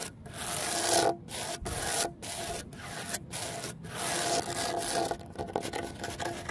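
Medium-length fingernails scratch and rake across the rough surface of a large, solid cement terrazzo stone bench with embedded stone chips. The result is a series of dry, bright rasping strokes with brief pauses between them, then quicker, choppier scratches toward the end.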